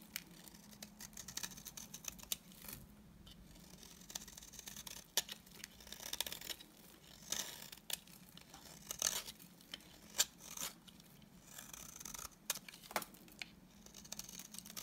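A solid, dry white bar of soap held in the hand is scraped into flakes with a utility knife blade. The result is a steady run of soft, bright, dry scratching and crisp little shaving sounds. Sharper scrapes and clicks stand out now and then, over a faint low hum.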